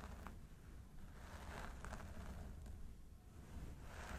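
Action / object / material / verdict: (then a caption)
scrape / synthetic hair on a plastic mannequin head / synthetic fibre / none. Fingertips of both hands scratch and rub through the long blonde synthetic hair on the sides of a mannequin training head. The result is a steady, soft scratchy rustle with brief brighter crackles, set over a constant low rumble.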